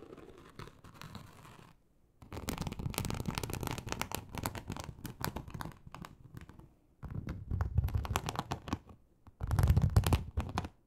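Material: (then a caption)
Leather. Long acrylic nails slowly and deeply scratch across a large, flat, teal snakeskin-embossed leather sheet. Bursts of rough, dense scratching carry a low rumbling body, broken by short pauses between strokes.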